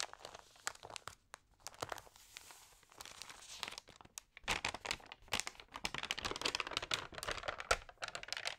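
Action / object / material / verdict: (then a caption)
scrape / thin paper magazine pages / paper / none. Hands rub and flip the pages of a damp, thin paper magazine, producing close, bright crinkling and crackling with sharp, short snaps. The rustling is sparse and soft at first, then grows denser and louder through the second half.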